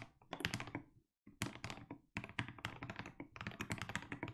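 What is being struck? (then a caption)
Mechanical keyboard with plastic keycaps. Fingertips type continuously on a compact mechanical keyboard with plastic keycaps, producing a rapid stream of deep, thocky key strikes with bright clicky edges and very short decay. The typing pauses briefly near the one-second mark, then resumes in quick bursts until the end.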